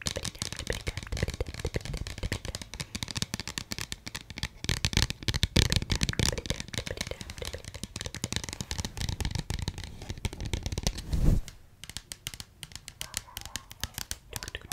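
Long yellow-painted nails tap and scratch the front cover and spine of a small, rectangular, pink-and-yellow Lizzie McGuire cardboard-covered book box held in both hands. The result is a dense, steady stream of quick clicks and scratchy rasps, with a louder, duller thump just past eleven seconds. The sound then settles into lighter, sparser tapping.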